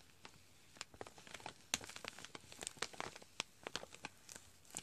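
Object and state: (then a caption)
Foil-lined plastic pouch, tapped and crinkled. A foil-lined plastic chicory coffee pouch is tapped and scratched on its front by fingertips and crinkles as it is handled. Many short, bright crackles and ticks come and go in quick succession over a quiet background.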